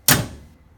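An aftermarket passenger-side door on a Can-Am Commander UTV, an outer panel on a mount frame with a plastic barrier added between them, is swung shut. It gives one solid thunk with a bright, brief crack that decays in about a quarter second. The barrier keeps the slam solid rather than tinny.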